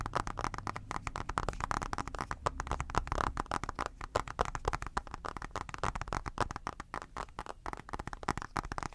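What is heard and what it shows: Fingertips and short nails tap and scratch the smudged glass screen of an iPad in a blue rubber case, held close. A dense, steady stream of quick, dry clicks and taps, each with a soft low thud beneath it, mixes with faint scratching and dies away almost instantly, never building or fading over the nine seconds.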